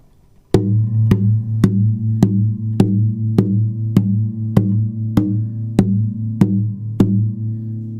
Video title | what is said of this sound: Martin 000-15S マホガニートップ000ギターの音は想像以上！ひび割れ修理、板厚計測、クリーニング、などなど | このグワングワングワンっていう感じの音、タップした時の響く音、これがいいギターの特徴なのかなと思います